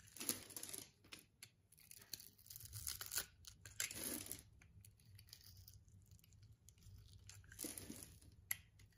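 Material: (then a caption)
Soap. A solid pink soap bar held in the hand has its scored surface scraped with a yellow-handled utility-knife blade, breaking it into crumbly pieces. Dry, bright crunching and tearing-like scrapes come in uneven bursts, with a quiet low hum between strokes.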